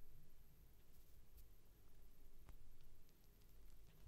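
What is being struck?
Polyurethane foam toy.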